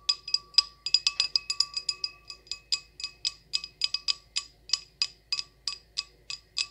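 An empty, hollow, small clear glass goblet with a short stem is tapped about thirty times with long acrylic nails in a quick, uneven rhythm. Each tap gives a bright, high glassy ping with fainter lower tones beneath it, and each dies away almost at once.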